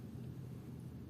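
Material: Nothing is struck.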